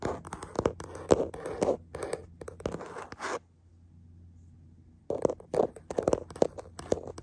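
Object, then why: Hard plastic phone case on a smartphone. Fingertips and short nails tap and scratch the back of a hollow, hand-sized smartphone in a printed hard plastic case, held in a black plastic clamp mount, with the phone itself doing the recording. Quick, close, dry taps and scratchy rubs come in a dense, uneven flurry with a low hollow knock in each tap. They stop for about a second and a half of near silence, then start again.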